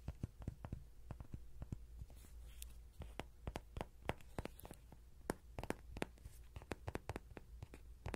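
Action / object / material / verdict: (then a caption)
tap / soft vinyl toy horse / soft vinyl / none. A small yellow soft-vinyl Rody horse toy, likely hollow, is held in the hand with a pin mic on top while fingertips and nails tap and scratch its belly and sides. About three dozen quick, dull tapping knocks with a hollow low thump come through close and quiet, each dying away almost instantly, with faint scratchy rustles between them.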